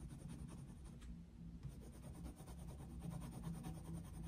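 A coloured pencil tip scratches across a thin paper page of an open colouring book lying flat on a desk, in continuous shading strokes. The strokes give a soft, quiet, rhythmic scratching with a low steady hum beneath.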